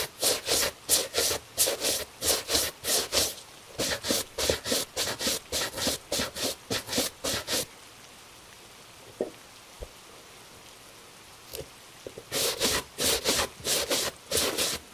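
A gloved hand holds a tan leather cap-toe Italian shoe while its upper is brushed with a bristle brush. The bristles make 23 quick, bright, scratchy strokes in a steady rhythm. The strokes come in a long run, stop for a few seconds with only faint ticks, then resume.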